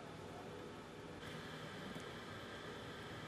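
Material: Nothing is struck.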